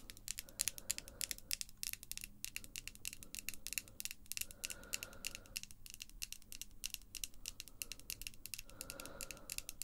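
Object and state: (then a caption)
Acrylic false nails tapped together. Long glossy pink acrylic false nails, small and made of solid hard plastic, are tapped by other long nails in rapid nail-on-nail tapping. The result is a dense stream of sharp, bright plastic clicks with almost no ring, over faint tonal bursts in the midrange.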